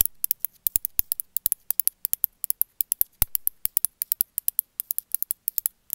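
A small, rounded, gray-speckled glazed ceramic cat figurine, held in one hand, is tapped and scratched on its back with long metallic-chrome nails. About 45 quick, sharp, bright clicks come in an irregular rapid stream, each dying almost instantly. Brief soft scratching rasps fill a few of the gaps over a faint low hum.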